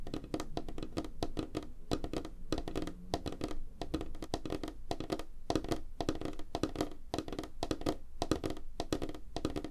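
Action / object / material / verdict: tap / wooden tabletop / wood / none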